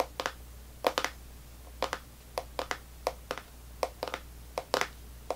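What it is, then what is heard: Plastic candy tub. Long natural nails tap and scratch across the lid of a full, rectangular clear plastic tub of strawberry sour belt candy with a printed label, steadied with one hand on a white table. About fifteen short, sharp, clicky taps come in quick bursts with brief scratchy rasps, each dying away almost instantly over a faint, steady low hum.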